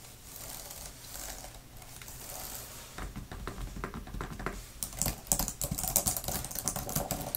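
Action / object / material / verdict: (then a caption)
tap / thin plastic keyboard cover / plastic / none. Long-nailed fingertips type fast on a grey, thin plastic laptop type-cover keyboard with flat plastic keys. A soft, steady patter gives way after about three seconds to distinct, quick clicking taps. These grow louder and brighter toward the end.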